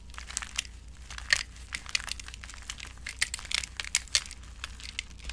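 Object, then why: Soap shavings in a glass bowl. Both hands press and crush small, brittle flakes of finely broken, dry orange soap shavings in a glass bowl. The result is a dense run of dry, bright crackles and crunches, with a few sharper snaps standing out above the steady crinkling. A faint low hum sits underneath throughout.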